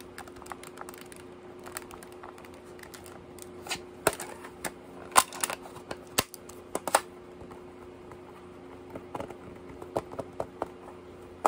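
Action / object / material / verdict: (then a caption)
tap / handheld plastic calculator / plastic / none. A handheld pink plastic scientific calculator with a hollow shell is held in the hands and tapped with fingertips and short nails on its back and sides. Quiet, irregular, sharp clicks and taps come in scattered bursts over a faint steady hum. Each tap dies away almost at once.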